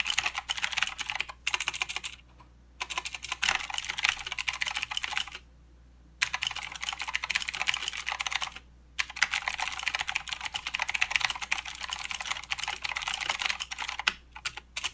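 A full-size mechanical keyboard with plastic keycaps and blue clicky switches is typed on by both hands using fingertips. Bursts of dense, bright clicking and clacking are broken by short pauses, with very short, sharp strikes and almost no low end.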